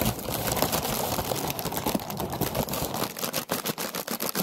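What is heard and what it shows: Long nails tap and scratch a hollow orange paper lantern on a wire frame, making a dense, papery crackle that spreads from low thumps to a bright hiss. In the last second and a half the sound moves in close, with sharper, more separated taps.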